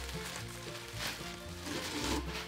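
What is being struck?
Nothing is struck.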